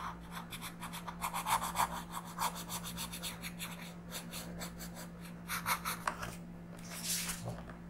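The lead of a blue wooden colored pencil rubs and scratches across a thin printed paper coloring book page lying flat on a dark surface while coloring. Quick, uneven back-and-forth strokes make a bright, papery scratching that swells and fades in bursts, over a steady low hum.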